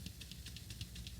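An older metal aerosol spray paint can is shaken, but its agitator ball is stuck and makes almost no sound. Only faint, rhythmic bright swishes are heard over a low, steady rumble, with no clear rattle of the ball.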